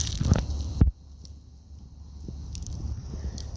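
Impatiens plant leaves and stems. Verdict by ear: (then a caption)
Dry. Underwatered impatiens in a garden bed are handled, giving a dense, dry crackling crunch for just under a second that ends abruptly. A few faint, scattered crackles follow over a low background rumble. The crunch shows how crispy and dried out the plants are, and they are then watered heavily.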